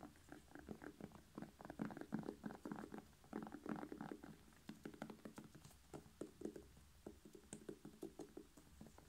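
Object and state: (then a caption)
Bell pepper. Fingernails rapidly tap and scratch a whole red bell pepper, hollow with a glossy skin. The quick, soft taps give a dull, hollow knock with a low tone, mixed with faint scratching between them. The tapping runs unevenly and stays quiet throughout.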